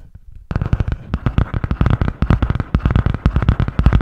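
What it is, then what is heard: Spiral notebook with cardboard cover. A medium spiral-bound notebook with a grey butterfly-print cardboard hard cover is held upright in both hands while long painted nails tap and scratch fast across the cover. After a faint half-second start, a dense, steady run of quick, dull, low-heavy taps follows, each dying away almost instantly, with light scratchy texture between them.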